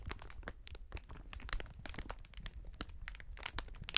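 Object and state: Crinkling plastic air cushion packaging.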